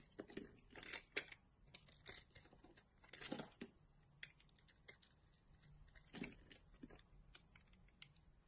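A solid green bar of soap held in the hand is scraped with a utility knife blade and handled with long glittery nails. The result is a quiet series of short, bright, dry scraping and crinkling bursts with a few louder strokes, each stopping almost at once with no ring.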